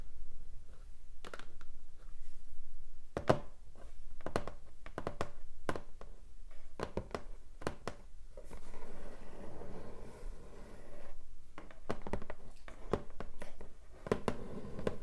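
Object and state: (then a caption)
Cardboard box tapped and scratched with nails. Hands hold a long, flat, hollow pink cardboard keyboard box while long nails tap and scratch its lid. Sharp, irregular taps land as short, dull hollow thunks that die away quickly, with stretches of soft, rough scratching between them.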